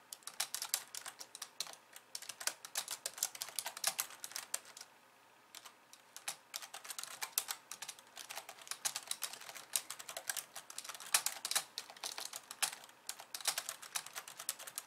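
Long polished nails and fingertips type rapidly with both hands on a compact pink and white plastic keyboard resting on a wooden desk. The result is a dense stream of crisp, bright clicks and taps with almost no low end, broken by a brief pause around five seconds before the quick typing resumes.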